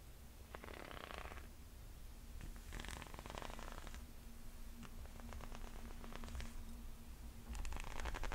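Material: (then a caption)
Rubber. Fingernails scratch and tap the thick, ridged white rubber sole of a chunky leather-strap sandal. Soft bursts of raspy scratching alternate with quick, dry taps over a low, steady rumble.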